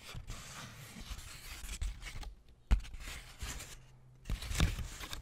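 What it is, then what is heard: Paper sheet. A crinkled sheet of thin white paper, held up in both hands near the microphone, is rubbed and crumpled with the fingertips. Dense, bright crackling and rustling comes in bursts, broken by two brief quieter pauses. Sharp, louder crackles land near 2.7 and 4.6 seconds.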